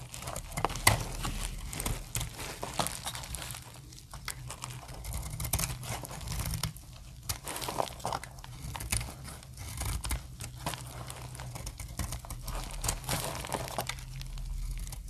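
A snap-off metal blade slices dry shavings off a hand-held, solid, translucent orange soap bar. Crisp, crinkly scraping and crunching strokes repeat steadily over a constant low rumble, with brighter crackles on the firmer cuts.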